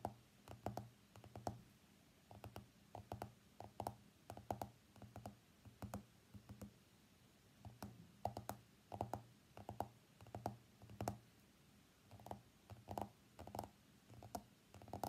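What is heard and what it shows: Fingernails tap and scratch the glass screen of an iPhone X lying face up on a mat. The result is a quiet, irregular run of short, dry clicks with very little ring, coming in small bursts with brief pauses between them.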